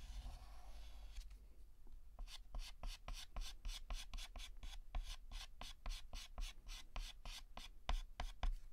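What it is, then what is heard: Chalk drawing on a chalkboard. Fingertips hold a pink chalk stick and draw outline strokes on a flat, solid black chalkboard. After a second of faint hiss, a quick, slightly uneven series of short, bright scratching strokes begins and continues to the end over a steady low hum.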